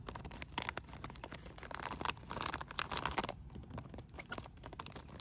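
A blue plastic bubble-wrap-style solar pool cover made of thin air-bubble film is scratched, rubbed and crinkled with fingertips and nails. The result is a dense, continuous run of dry crackling and scratchy crinkles with bright, brittle edges over a faint low rumble.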